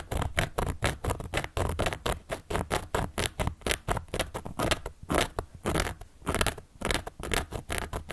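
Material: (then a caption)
Cork. A carving tool, held upright by long yellow and black nails, scratches and traces across the surface of a large, round, solid cork board. A quick, uneven run of short, dry, scratchy strokes comes about twice per second, each a gritty burst with a low rumbling body and a bright, papery edge that stops almost instantly.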